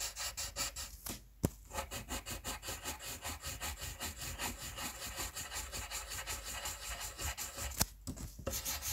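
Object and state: Colored pencil shading on paper.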